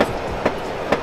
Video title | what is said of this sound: Pameran Otomotif ~ VTech Peredam Yang Sangat Ringan ~ GAIKINDO GIIAS 2021 : 11 - 21 Nov | suaranya rongganya dia masih kosong